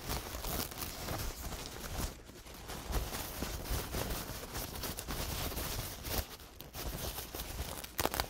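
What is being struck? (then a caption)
Paper towel with dried paint. A large, thin paper towel stiff with dried paint stains is unfolded and crinkled between both hands with the fingertips. It makes a steady, dense crinkling rustle with a low rumble underneath, easing to softer stretches around the second and sixth seconds. Sharper crackles stand out near the third second and again at the very end.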